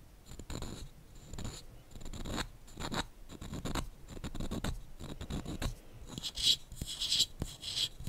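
Fingernails scratch and rub the surface of a small, solid wooden calendar cube with white number faces. Uneven, repeated rasping strokes carry a bright hiss over soft low thumps, and sharper, brighter scratches come near the end.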